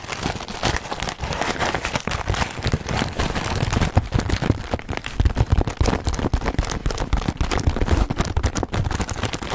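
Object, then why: Paper cookie bag. Fingertips and nails tap and scratch a full white paper Milano cookie bag close to the mic. A dense, steady run of quick, dry taps and crinkly scratches sounds full and low-heavy, with very short decays and little bright content.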